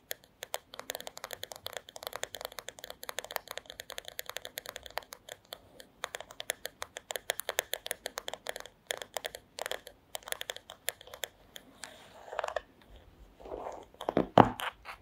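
Long acrylic nails tap rapidly and steadily on the solid wooden back of a paddle hairbrush, making crisp, dry clicks with almost no ring. Near the end the nails switch to scratching across the wood, giving a louder, rougher scraping sound.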